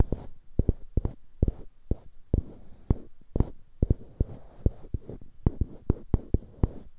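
Fingertips and short nails scratch and rub two identical small, solid light-wood cubes on polished dark-wood handles, close to a binaural mic. Short, dry clicks land in an uneven rhythm over a soft, scratchy rubbing. The sound is heavy in the lows, has almost no ring, and carries a faint high hiss.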